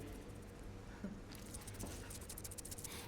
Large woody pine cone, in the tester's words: shake them and listen at them, there will be like a little like something rattling inside. That's a seed.